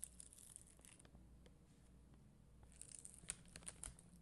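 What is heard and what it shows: A plastic spoolie brush is scratched across a sheet of red and clear acrylic rhinestone gem stickers on a white backing. A quiet, steady, bright crinkly scratching with a soft low rumble underneath runs through most of the clip. In the last second and a half it turns into sharper, louder ticking scrapes.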